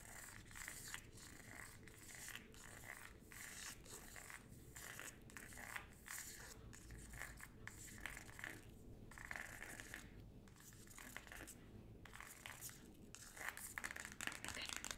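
Long gold acrylic nails tap and scratch across the glossy paper cover of the solid hardcover book "Me," held upright in one hand. Quick, crisp clicks mix with dry, bright scraping in a steady, close rhythm. Each tap dies away almost at once.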